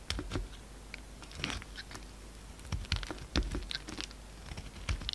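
A solid peach-colored bar of soap, held in the hand, is carved into flakes with a utility knife blade. Many quick, crumbly cuts make dry crunching and scraping sounds, with soft low thumps and bright crackly edges over a quiet background.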